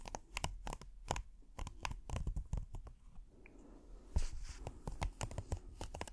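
A thin, flat, hexagonal red silicone trivet with a textured dotted surface is held up in one hand and scratched slowly with the fingernails of the other. Dry, crackly scratches and quick ticking clicks with a low rumbly body come in uneven bursts. A quieter stretch in the middle is followed by a louder, brighter rasping burst that settles back into scattered scratching.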